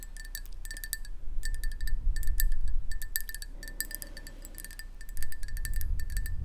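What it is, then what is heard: Ceramic mug tapped with nails. A hollow black ceramic mug, held in both hands, is tapped rapidly with long nails, giving a quick, irregular stream of light ringing clinks. Each tap is short and bright, with a steady tone near 2 kHz and brighter high overtones over a low, soft rumble.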